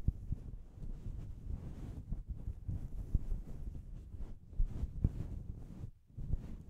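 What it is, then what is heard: Synthetic fur microphone windscreen. A fluffy grey-white faux fur windscreen over a microphone is scratched and rubbed with the long painted fingernails and fingertips of both hands. The result is a deep, muffled rumbling rustle, with almost no high sound and occasional soft thumps. It briefly goes quiet near the end before the rubbing resumes.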